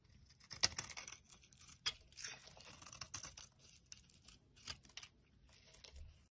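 An orange soap bar held in the palm has its edges shaved with a utility blade into crumbly flakes. The sound is a quiet, bright, crackly scraping, broken by a few sharper cuts at irregular intervals, with very little low end.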